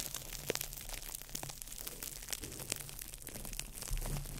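A small ball of crumpled clear plastic wrap is crinkled by fingertips over the mic, producing a dense, steady crackle of bright snaps and rustles over a low rumble. Sharp pops stand out through the clip, with a louder low thump just before the four-second mark.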